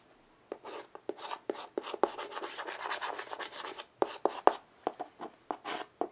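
White chalk held in the fingers scratches and shades lines rapidly across a small wood-framed chalkboard resting on carpet. Short dry strokes alternate with a stretch of steady raspy scribbling in the middle, with a few sharper clicks of the chalk tip striking the board. The sound is mid-pitched and gritty with a bright hiss and no low end.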